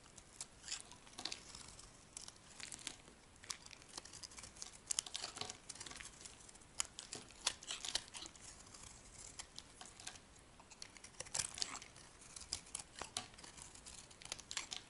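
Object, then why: Bar of soap scraped with a metal blade. A solid square white bar of soap held in the hand is scraped and carved with a metal utility blade, shaving off dry flakes. Quiet, bright, crisp scratching and crinkling clicks come in quick irregular bursts, each dying away instantly, with almost no low end.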